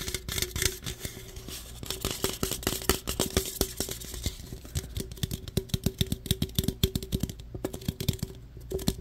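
Fingernails scratch and tap the printed sides of an aluminum root beer can, making a rapid, uneven run of short, bright clicks and scrapes. Each tick dies away almost instantly. A steady low hum and a faint mid tone sit underneath throughout.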